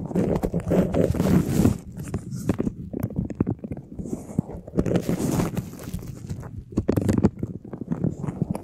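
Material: Plastic.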